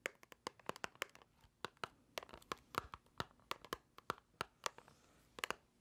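A small, hollow white paperboard box is held in the hands and tapped and scratched with long nails. About two dozen quick, dry, clicky taps land in an uneven rhythm, each with a papery tone around 1.1 kHz and a bright edge, dying away almost instantly. Soft scratching rustles fill the gaps between them.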